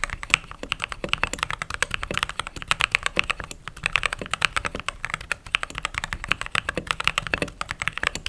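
Fingertips with short nails type rapidly on the white plastic keycaps of a backlit mechanical keyboard. The result is a fast, steady stream of crisp, bright clacks that stop short with no ring, centered around 2.5 kHz with little low end.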